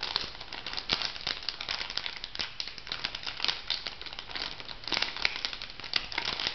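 A small, flat, pink printed plastic/foil sachet, filled, is crinkled and tapped with long nails. The result is a dense, continuous stream of bright, crisp crinkles and rapid clicky taps, mostly high-pitched with little low end, with a few sharper taps standing out near the middle and end.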